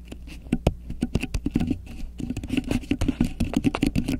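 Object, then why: Beeswax-coated cotton wrap. A thin, flexible grey polka-dot beeswax-coated cotton wrap draped over the top of a microphone is scratched, crinkled and pressed with long acrylic nails and fingertips. A rapid, uneven stream of short, dry taps and crackles sits over a soft scratchy bed. The sound is heavy in the low end with a faint bright edge.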